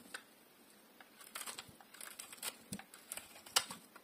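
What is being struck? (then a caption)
Bar of soap shaved with a metal blade. A solid bar of dry, translucent pink soap is held in one hand and shaved with a metal utility blade. Quiet, bright, crisp scraping and crackling comes in short irregular strokes, with little low end and almost no ring after each cut.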